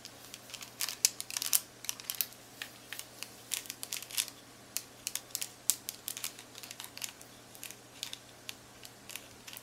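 Long-nailed fingertips press and tap the plastic keys of a black plastic graphing calculator. The result is a quiet, irregular series of dozens of sharp, bright clicks with almost no low end, each dying away instantly.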